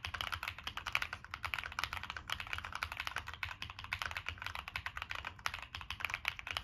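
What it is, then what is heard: Mechanical keyboard with aluminum case. Fingertips type continuously on a Monsgeek M1 mechanical keyboard with a black aluminum case, plastic keycaps and NK Cream switches. A rapid, steady stream of short, crisp clacks with bright tops and a little low thock, each dying away almost instantly, over a faint low hum.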